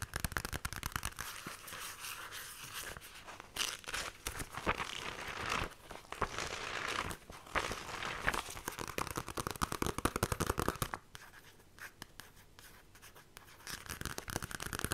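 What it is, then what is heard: Paper comic book being scratched. Long nails scratch quickly across the paper cover of a worn Billoo comic digest, with some page flipping mixed in. Dense, dry crinkling and crackling scrapes come in rapid bursts, briefly quieter in the later part before picking back up.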